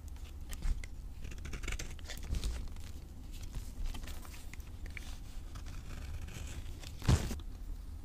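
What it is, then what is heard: Soap bar being carved. A utility knife scrapes and carves the face of a solid, rectangular bar of dry green avocado soap held in the hand, shaving it into powder. A steady, low, rough scraping runs throughout, flecked with bright, crinkly crunching. A few sharper strokes stand out, the strongest near the end.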